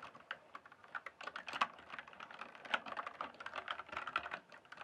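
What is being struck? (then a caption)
Mechanical keyboard with plastic keycaps. Fingertips type and tap quickly on the plastic keycaps of a full-size RGB-backlit mechanical gaming keyboard. The result is a fast, steady stream of short, sharp clicks and clacks, each dying away almost instantly, with a bright upper edge and no low-end thump. The keystrokes run together too closely to count.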